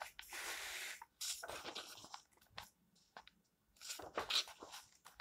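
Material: Paper.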